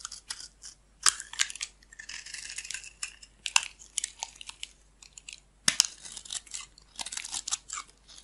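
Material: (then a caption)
Soap. A metal blade shaves thin curls off the edge of a solid off-white bar of soap. Dry, crisp scraping and crackling come in short repeated strokes, almost entirely high and bright with no low end. Sharper snapping peaks stand out near the 1, 3.5 and 5.7 second marks.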